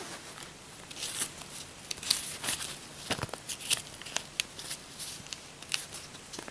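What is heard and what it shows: Long manicured nails flick and count a stack of thin, flexible US paper dollar bills made of cotton-linen paper, held in both hands over a loose pile of bills on a bedspread. The notes are counted one by one in a quiet run of crisp, bright papery snaps and soft rustles, each dying away almost at once, with almost no low end.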